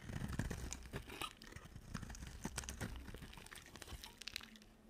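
A box cutter carves and scrapes a solid, oval, silver-coated bar of dry soap, making dense, crunchy, crinkling scrapes with sharp bright flecks over a low rumble. The close, dry cutting strokes come in quick overlapping bursts and gradually grow quieter toward the end.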